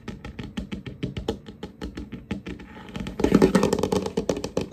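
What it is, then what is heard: Wooden tabletop tapped by fingertips. Fingertips and short nails tap and scurry unevenly across a large, solid, varnished wooden tabletop, moving toward the camera. Quick, dry, irregular knocks with almost no ring come first. About three seconds in, the sound turns into a louder, denser scratching scurry.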